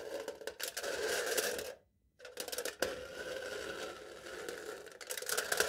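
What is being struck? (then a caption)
Aluminium foil stretched over a cup. A metal knife tip repeatedly pokes and scratches crinkled, embossed aluminium foil wrapped tightly over the top of a hollow cup held in one hand. The result is a dense, bright, papery scratching and crinkling with a steady hollow tone, broken by a brief silence near the two-second mark before it resumes with a sharp tap.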